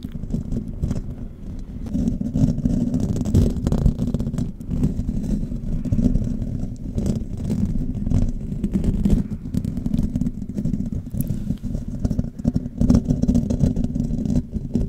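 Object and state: Metal mesh microphone grille.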